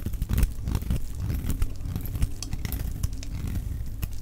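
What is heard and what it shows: A solid, dry yellow laundry-type soap bar held in the hand is shaved into flakes with a metal utility knife blade. The result is a dense run of short, crunchy, crackling scrapes, heavy in the low end with quick, dry bright ticks on top.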